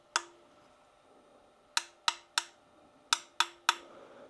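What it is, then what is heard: Metal turntable platter with very little ring. A suspended single-layer metal platter from a Technics SL-1200GR2 turntable is struck lightly seven times, in one tap and then two quick groups of three. Each tap gives a bright click with a faint, very short ring that dies away almost at once, much less than you would expect from a metal object.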